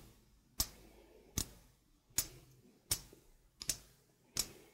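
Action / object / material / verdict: tap / stainless steel mesh sink strainer / stainless steel / none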